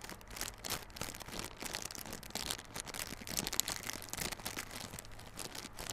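A small, hollow yellow cardboard Realme Buds Classic earbud box, wrapped in clear plastic film, is held in both hands while the fingers scratch and squeeze the film. The result is a quiet, steady stream of bright, crisp crinkling and scratching with short, dense crackles and little low end.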